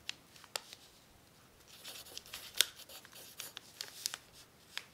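A graphite pencil tip writes on a thin, crumpled brown paper sheet that lies flat on a tablecloth, held down by one hand. Sharp, bright scratching ticks and brief crinkles stand out from a soft, hissy scraping bed. The sound is mostly high-pitched, with almost no low end.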